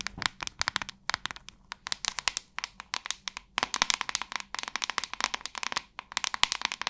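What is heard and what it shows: Long nails tap and scratch the flat, glossy back of a large white hollow plastic paddle hairbrush with a metallic-ringed handle. Dozens of quick, sharp, bright clicks come in uneven bursts, each dying away almost instantly, with a hollow tone around 1 kHz and faint scratchy texture between taps.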